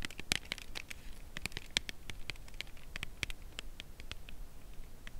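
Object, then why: Cardboard box. Long nails tap and scratch along the edge of a cardboard chocolate bar box held edge-on. Quiet, crisp, bright ticks and short scratches come in a steady, irregular series, each dying away instantly with no ring, over a low, steady background rumble.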